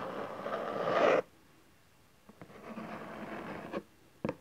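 Hands hold the sides of a cardboard camcorder box, rubbing and scratching across its bottom face with folded flaps in a dry, papery burst that cuts off abruptly. After a pause, softer rubbing resumes, and fingertips and nails tap the face in a few short, hollow knocks.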